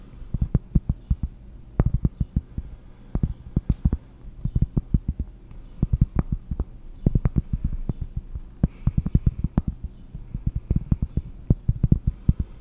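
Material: Cork.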